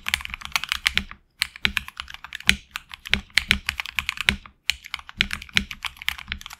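Fingertips type continuously on a HyperX Alloy Origins Core tenkeyless mechanical keyboard with HX Red switches, PBT plastic keycaps on an aluminum plate and a hollow case. Rapid, bright, dry clacks with very short decay come in dense bursts, broken by two brief pauses, with a faint low thock under each press.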